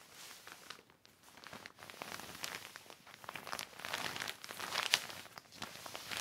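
A hand rubs and wipes the wet surface of a large black heavy plastic sheet lying flat with a yellow sponge. The result is a steady stream of bright, crackly crinkles and scrapes with almost no low end. One sharper peak stands out near the five-second mark.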